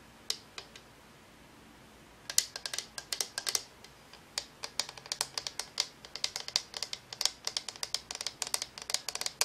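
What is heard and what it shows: A hand-sized, hollow Homecube LED color-changing lamp, with electronics inside and a cylindrical translucent frosted plastic shade glowing orange then green, is held in one hand and tapped with the fingertips and long nails of the other. A few light, bright clicks come first, then after a short pause a quick, uneven stream of dozens of sharp, high plastic taps that stop almost instantly.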